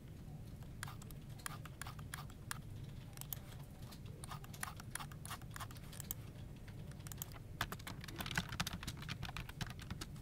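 Fingertips type rapidly on the keys of a dark plastic office keyboard resting on a desk, first with one hand and then with both hands. Dense, sharp, bright key clicks patter over a steady low hum, growing busier and louder toward the end.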